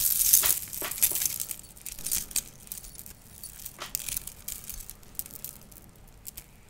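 A long silver metal link chain, held in both hands and draped near a microphone, is shaken and handled so its links clink against each other. A dense burst of bright metallic jingling at the start thins into quieter, scattered high clinks and rattles.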